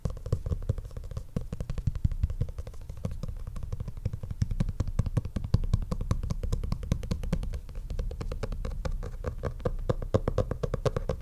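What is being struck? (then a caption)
Stitched faux leather notebook cover. A black stitched faux leather notebook cover lying flat is tapped rapidly and continuously with the fingertips and the flat of the hand. Each tap is a short, dull, low thud with almost no ring, and the steady stream of soft taps keeps a muffled, bass-heavy texture throughout.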